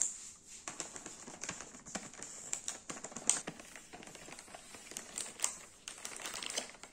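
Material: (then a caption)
Plastic. A thin, hollow black plastic blister tray from a cookie box, with cookies visible inside, is held in the hand while the fingertips tap and bend it. The result is a string of quick, bright crinkling clicks and crackles that are mostly high-pitched, with very little low end and almost no ring.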